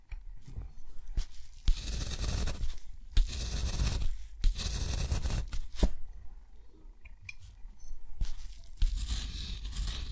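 A steel dip-pen nib scratches ink strokes across a thick, rough-textured white watercolor paper sheet lying flat on a surface. Several long, raspy scratching strokes of bright, papery texture are heard, separated by short nib taps and quiet pauses, over a low underlying rumble.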